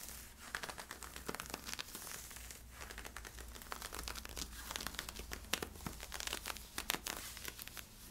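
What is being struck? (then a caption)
Polyester-spandex leggings being scratched. Fingertips and nails scratch along the side of worn camo-print polyester-spandex stretch leggings with white side stripes. The result is a dense, bright, crinkly scratching made of many quick, sharp strokes over a faint, steady low hum.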